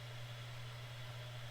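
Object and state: Nothing is struck.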